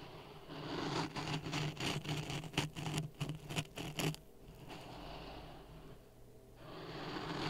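A wooden stick stirs dry sand in a clear plastic cup resting on a red microphone, producing gritty, scratchy scraping with a low hum. The scraping comes in quick, uneven strokes for about the first four seconds, then settles into a softer, steadier rustle that swells slightly at the end.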